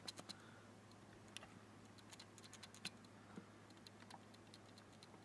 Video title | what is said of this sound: Video Test Video | you can actually hear it when you shake it